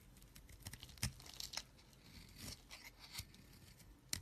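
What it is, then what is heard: Bar soap scraped with a knife. A knife blade scrapes repeatedly across the face of a solid green bar of soap held in the hand, shaving off crumbly flakes. The scrapes come as short, dry, bright crackling and crunching bursts with almost no ring, over a quiet background.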